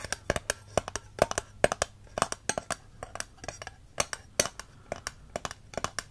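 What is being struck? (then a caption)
Thick glass candle jar with wax. Fingertips and short nails rub and scratch the textured side of a medium, heavy green glass candle jar full of wax, with a black lid, held in one hand. About thirty quick, dry clicks and taps sound in an uneven rhythm, each with a bright, glassy tone around 590 Hz that stops almost instantly, over faint scratching in between.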